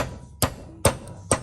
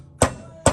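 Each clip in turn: First: unseated valve stem seal (hollow tone). Second: fully seated valve stem seal (solid tone).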